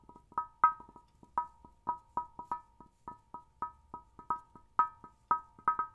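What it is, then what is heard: Glass CRT television screen. The curved glass picture tube of an old vintage television, set in a solid cabinet, is tapped repeatedly with the fingertips and fingernails of one hand. Each tap is a quick, sharp knock with a short glassy ring around 1.3 kHz, with softer taps in between. The taps come in an uneven run, and each sound dies away almost at once.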